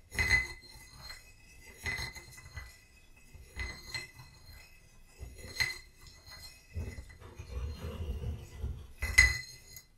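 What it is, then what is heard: Ceramic vase. A small painted ceramic vase holding dried lavender stands on a book and is tapped on its body with a short wooden stick while a hand with long nails steadies it. Several bright, glassy clinks ring briefly at a pitch near 2 kHz, each over a soft low thump. A quieter stretch of rustling handling sounds falls between the later taps.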